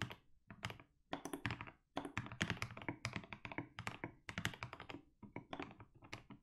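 Fingertips type continuously on a compact mechanical keyboard fitted with blue and grey SA plastic keycaps. The result is a rapid stream of deep, thunky clacks with short, dry decay and a bright click on top. Brief pauses break up the bursts of keystrokes.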